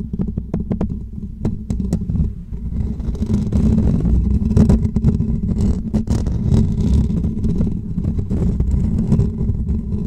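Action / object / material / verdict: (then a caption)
scrape / woven metal mesh microphone grille / metal mesh / none. Short natural fingernails on both hands scratch the top and sides of a hollow woven metal mesh microphone grille. The result is a dense, continuous rumbling scrape, mostly low with a hum-like tone near 227 Hz. Sharp clicks and brief bright scratches cut through the scrape, which grows fuller after the first few seconds.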